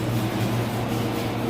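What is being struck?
Nothing is struck.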